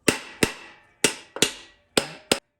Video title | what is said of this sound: Rebuilding TH350: Setting up the Intermediate Clutch | you'll know it's fully seated when the tone changes, so it won't feel like as much of a hollow thunk as a very flat, very flat, solid sound